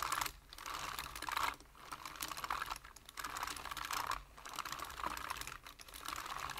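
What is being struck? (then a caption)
Plastic computer keyboard. Fingertips type on a full-size black plastic computer keyboard, producing a steady run of quick, bright plastic key taps in uneven bursts with short pauses between them. The clicks are dense and crisp, each dying away almost immediately.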